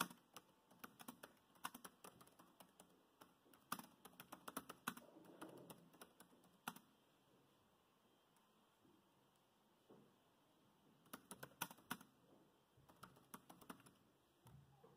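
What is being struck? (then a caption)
Plastic laptop keyboard keys. Fingertips type on a dark grey plastic laptop keyboard with low-profile keys, making quiet, short, dry clicks in quick repeated taps. A dense run of typing is followed by a near-silent pause of several seconds, then further short bursts of key taps.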